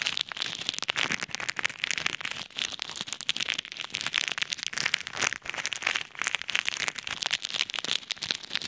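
Fingertips press and knead a clear plastic bag full of pink and white plastic pearl beads between two microphones, so the beads shift and rattle. The sound is a dense, continuous run of bright, crisp clicks and crackles with almost no low end. It swells and eases in waves across the clip.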